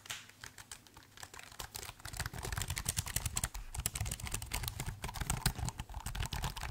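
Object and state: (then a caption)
Laptop keyboard with plastic keys. Fingertips type on the plastic keys of a silver laptop keyboard held in front of the mic. Rapid, irregular clicks and taps run throughout, each short and dry, with a soft low thump under a bright click. The typing gradually gets a little louder and denser as it goes on.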